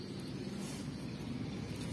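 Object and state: Nothing is struck.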